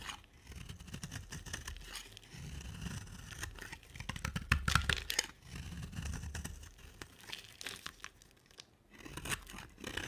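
A utility knife blade carves a solid, dry green soap bar with a black glitter coating in scraping strokes. Each stroke gives a soft, crumbly scrape and crunch, with a low rumble under bright crackly shavings in an uneven, rapid rhythm. Quiet gaps fall between bursts of strokes.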